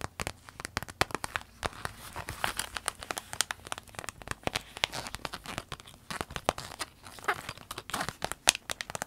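Long nails scratch and tap a small, empty, clear orange vinyl zip pencil case while hands hold it up and squeeze it. The result is a dense, quick run of sharp, bright crinkles and crackles with no ring after each one.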